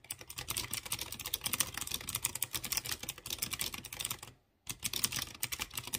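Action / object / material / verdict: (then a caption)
tap / mechanical keyboard with metal-capped keys / plastic / none. A light blue plastic mechanical keyboard with round chrome keycaps on clear-housed blue switches is typed on with fingertips. A rapid stream of bright, sharp key taps comes through, briefly stopping to silence near the end before the typing resumes.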